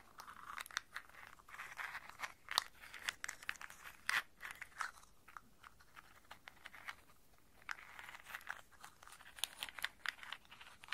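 Cupped hands with long nails scoop handfuls of whole walnuts in hard, hollow shells from a round brown bowl, rubbing and rolling them together. The shells clack and rattle against each other in dry, crunchy bursts with a bright, clicky edge and little low end, separated by short quieter pauses.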